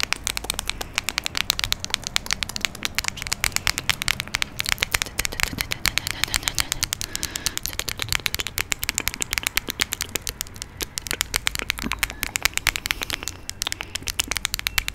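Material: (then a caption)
Glass. Long nails tap and scratch a small amber glass perfume bottle with a dark cap, held in one hand near the mic. Rapid, crisp, high-pitched clicks come in a steady stream, mixed with brief scratching, and each tap dies away almost instantly.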